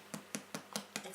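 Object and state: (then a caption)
Baked-through soda bread loaf (hollow). The bottom of a freshly baked Irish soda bread loaf is tapped six times at an even pace, each tap a short, dull, hollow knock. The hollow sound shows the loaf is baked through and cooked inside.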